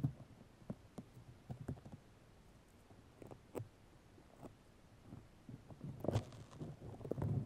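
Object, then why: Fiberglass mesh tape wrapped on a microphone. Long nails of both hands scratch white fiberglass grid mesh tape wrapped around a microphone. Soft, low, muffled scratches and taps come in scattered bursts with a few sharper clicks. They swell into a denser cluster of scratching near the end.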